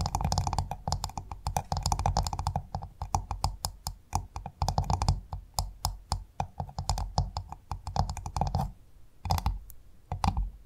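A pearl-bearing clam's hard shell is tapped rapidly with fingers or nails. The result is dense, dry, clicky tapping with a low thump under each bright click, and it slows into a few sparse taps near the end.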